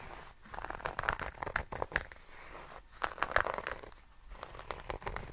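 A small rectangular zippered nail clipper case, covered in grey herringbone tweed fabric over a firm hollow shell, is held in both hands and scratched and rubbed with fingertips and nails. It makes dense, crackly scratching and rustling with sharp, brief clicks concentrated in the mid range around 1–2 kHz. Brief quieter gaps come near 0.4, 2.8 and 4.1 seconds.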